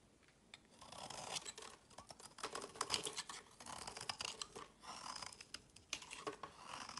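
A hand-held solid rectangular bar of pink and white striped soap is shaved and carved with a utility knife blade, and curls and flakes fall off. Quiet, bright, crisp scraping strokes come in repeated bursts, with small sharp clicks and almost no low end.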